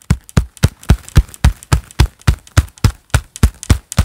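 A pair of black leather gloves worn on both hands claps gloved palm against palm in a fast, steady rhythm. Each clap is a short, dull, padded thud with a brief bright slap on top, dying away almost instantly, with quieter smaller pats between the main claps.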